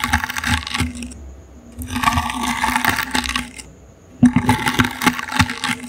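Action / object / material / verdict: scrape / small woven wicker basket / wicker / none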